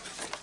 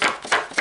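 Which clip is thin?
The first.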